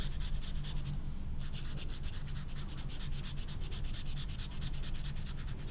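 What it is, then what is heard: Marker scrubbed on velvet-flocked paper. An orange felt-tip marker is scrubbed back and forth over the flocked surface of a small, flat velvet-flocked paper poster card. The result is a steady, rhythmic, soft scratchy rubbing, with bright hissy strokes over a low rumble and a brief lull just past the first second.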